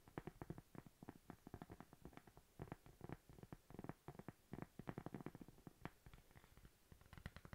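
A thin, flat, solid cork coaster is tapped and scratched with long nails close up, giving a rapid run of soft, dull clicks and brief scratchy brushes. The taps are short and dry with almost no ring, sitting mostly in the low end with little high sparkle.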